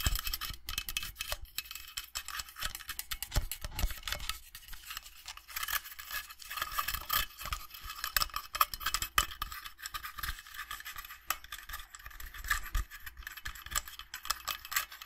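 Fingernails tap and scratch the inside and rim of an empty stainless steel tankard inner cup. It makes a dense, continuous run of quick, bright metallic clicks and scrapes that die away almost instantly, with a faint tone around 1.3 kHz.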